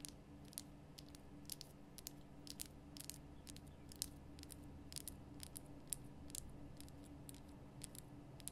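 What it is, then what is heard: Himalayan salt lamp. Long nails tap the lower sides and top of a large, lit, pink Himalayan rock-salt lamp, a solid rough crystal block. The taps are quick, dry, bright clicks that stop instantly, falling in an irregular patter. Under them runs a quiet, steady low hum.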